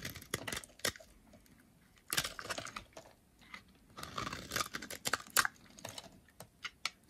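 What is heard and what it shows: A utility knife blade carves and scrapes the flaky edge of a dry, solid brown bar of soap held in the hand. Short, dry, crisp scrapes and crackling flakes come in uneven bursts with quiet gaps between them. The sound is bright and thin, with almost no low end, and each scrape stops abruptly.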